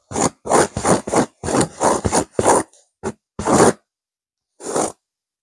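Long nails scratch a stuffed blue burnout velvet cushion with a cream petal pattern while a hand grips the pillow. Quick, irregular bursts of dry, rasping scrapes with bright fuzz are separated by short silences. The last few strokes are spaced farther apart.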